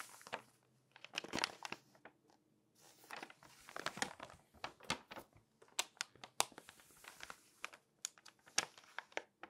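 An open, thin glossy paper Magnolia Journal magazine lies flat while a hand with long dark-painted nails turns its pages and rubs and scratches the page surface with nails and fingertips. Bright, crisp paper crinkling comes in quick bursts of rustle and sharp scratchy ticks, separated by brief quiet pauses.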